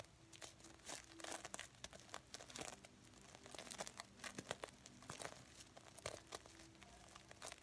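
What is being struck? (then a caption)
Stuffed pillow covered in plastic sequins. Fingernails scratch and brush back and forth across the plastic sequins of a red reversible-sequin stuffed heart pillow held in both hands. The result is a quiet, dense stream of bright, crinkly scratching with many quick clicks and rustles that swell and fade with each stroke.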